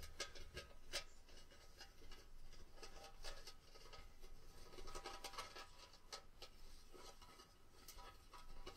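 Long painted fingernails scratch and tap a tabletop cone-shaped Christmas tree ornament with a hammered, textured silver mirrored surface that looks like hollow mercury glass, while it is held at the base. Quiet, dry scratching and rubbing runs throughout, broken by light, bright taps that die away almost instantly.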